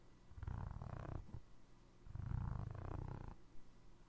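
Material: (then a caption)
Foam rubber. Fingertips and nails scratch and tap the ridged tread of a navy foam rubber Crocs clog sole held beside the mic. The result is a low, rumbling, purr-like texture in two long bursts.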